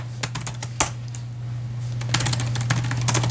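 Fingertips of both hands type continuously on the white plastic chiclet keyboard of a silver laptop resting on a padded case. Short, sharp, bright key taps are heard over a steady low hum, sparse and irregular at first, then quicker and denser after about two seconds.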